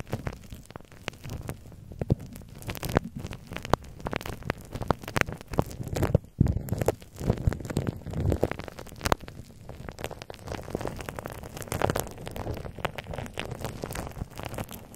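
Fingertips and nails tap and scratch the hollow, ball-shaped head of a hand-held microphone whose metal mesh grille is wrapped in clear plastic bubble wrap. The result is a dense, continuous stream of short, dry crackles and soft thumps, mostly low and boomy with little brightness. A few sharper, louder taps stand out along the way.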